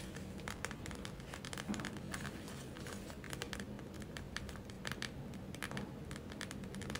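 Long nails tap and scratch across a gel-filled plastic eye mask, giving quick, bright clicks with slight crinkling. A steady low hum sits beneath the irregular, closely spaced taps.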